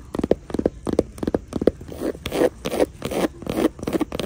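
Long nails scratch and tap the woven straw/raffia front panel of a small hanging crossbody bag with white faux leather trim and a gold buckle. Quick, dry, crackly scrapes come at a brisk, uneven pace. Short crisp strokes give way to longer, rougher rasps.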